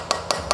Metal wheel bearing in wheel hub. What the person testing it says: you can hear a change in the tapping when it bottoms out and is fully within its seated position